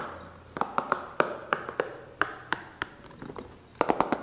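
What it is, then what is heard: Rubber spiky massage ball tapped. A small, hollow, green spiky rubber massage ball is held near the mic and tapped and scratched with fingertips and nails. Quick, sharp, dry taps with a hollow rubbery tone land irregularly over a soft scratching hiss, with a faster flurry of taps at the end.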